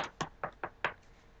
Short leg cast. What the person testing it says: you guys can hear that's how hard it is. Like I can knock on it.